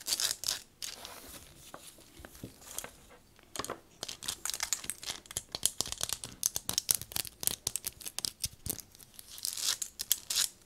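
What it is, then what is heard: Rubber-coated binoculars, tapped. Long nails tap rapidly on the barrels and eyepieces of black rubber-coated binoculars with a leather strap, first held in the hand and then set on a table. The result is a dense run of dry, bright clicking and scratchy ticks with almost no low end and no ring.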